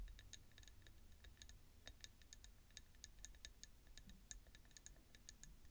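Long nails tap and scratch the ridged outer wall of a small ribbed peach ceramic bowl full of roasted pumpkin seeds, sitting on a bamboo plate. The result is a quiet, irregular run of sharp, bright ticks that die away almost instantly, over a faint low rumble.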